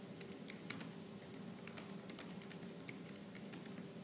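Fingertips with purple nails type fast and hard on the black plastic keys of a silver laptop. A steady stream of quick, bright key clicks rides over a constant low hum, with a few sharper clacks standing out.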